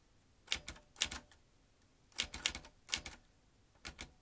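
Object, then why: Manual metal typewriter. An old manual typewriter with metal typebars, round metal-rimmed keys and a ribbon spool is typed with the fingertips of both hands, so the keys strike the mechanism. Sharp, bright metallic clacks come in five short clusters of quick keystrokes, each dying almost instantly, with near silence between the groups.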